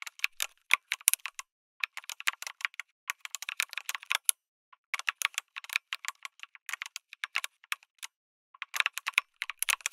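Fingertips type on a backlit mechanical keyboard with a white case and red and grey plastic keycaps. Rapid, bright, clicky keystrokes come in bursts separated by short pauses, each hit short and crisp with no low end.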